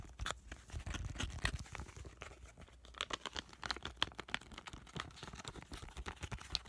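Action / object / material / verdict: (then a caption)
tap / laminated plastic-foil sachet holding a soaked sheet mask / plastic foil / none. A small, flat avocado sheet-mask sachet of laminated plastic foil, filled with a soaked mask, is tapped and squished with fingertips close up. Crisp crinkles, soft taps and wet squishing come in a dense, irregular stream of short sounds over a low rumble.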